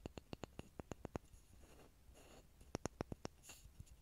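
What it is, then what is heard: Pine wood block. A small, solid grooved pine block sits close to a mini microphone and is tapped and scratched with fingertips and nails. A quick run of dry, sharp taps gives way to a soft, hissy scratching across the grooves. Then comes a second burst of crisp taps and a brief, brighter scrape near the end.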